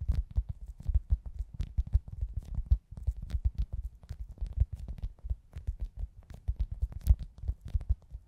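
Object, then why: Foam squishy toy. A hand-sized, soft, solid foam pizza-slice squishy toy, held in both hands, is tapped and scratched with long acrylic nails. Many quick, muffled taps and soft scratches pile up in a dense, low, thumping patter, with only faint bright flicks of nail on the surface.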